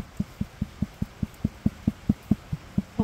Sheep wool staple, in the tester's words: that's kind of the Ping test to say it's healthy it's not breaking on me